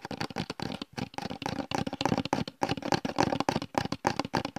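A translucent plastic gel bottle with a red cap and a blue "Gel" label is held close to the microphone and tapped and scratched with the fingertips. The result is a rapid, irregular run of short, dry plastic taps mixed with scratchy rustling, mostly in the mid range with a faint bright edge and no ringing.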